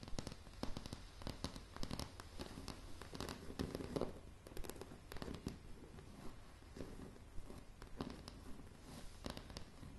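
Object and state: Pine plank floor tapped with fingernails.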